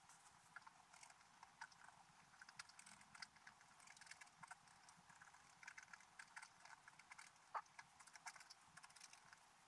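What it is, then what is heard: Scratch art paper sheet being scratched. A wooden stylus scratches details into a flat, black-coated scratch art paper page. Quiet, dry, rapid scratching strokes with short bright rasps sit mostly in the upper range, with little low end. Occasional sharper scrapes stand out from the steady scratching.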